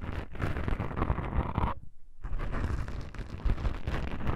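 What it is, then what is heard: Foam microphone windscreen being scratched. Long pink nails scratch and grip two small black foam windscreens on a stereo microphone, producing dense, muffled, rumbling scratches heavy in the low end. The scraping breaks off into a brief near-silence just before the two-second mark, then resumes just as thick and continuous to the end.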